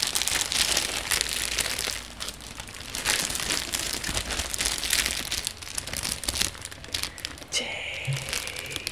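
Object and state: Plastic shrink wrap crinkling.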